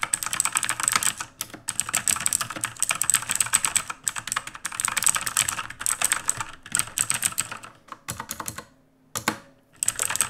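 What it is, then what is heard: Mechanical keyboard with plastic keycaps. Both hands type rapidly with their fingertips on a full-size backlit mechanical computer keyboard with plastic keycaps and a dark housing, resting on a wooden desk. Dense bursts of crisp, bright clacking keystrokes run in quick streams, broken by a few brief pauses, with a short near-silent gap before the typing resumes.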